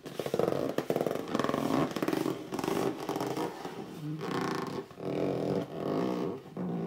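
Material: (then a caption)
Cardboard. Short nails scratch and fingertips rub along the front edge and top of a hollow red cardboard box lying flat. The result is a run of squeaky, mid-pitched gripping and rubbing strokes with a scratchy texture, each stopping dry with almost no ring.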